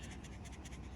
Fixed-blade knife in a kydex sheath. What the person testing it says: no Rattle and that's that's very very important